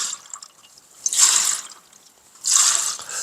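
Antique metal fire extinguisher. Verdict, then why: Not empty. An antique metal fire extinguisher, weighing 7 lbs with the firefighting fluid still inside, is shaken near the microphone without being opened. Two bursts of bright, hissy sloshing stand out against a quiet background.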